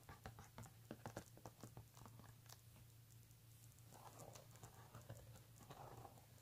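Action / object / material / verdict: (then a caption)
tap / embossed leather handbag panel / leather / none. Fingertips and short nails tap and scratch the flat front panel of a medium-sized, hollow pink embossed leather handbag with brown leather trim lying flat on a table. A quick run of soft, dry taps with bright clicky edges fills the first few seconds, then gives way to quieter, hissy scratching with a few scattered taps. A steady low hum sits underneath throughout.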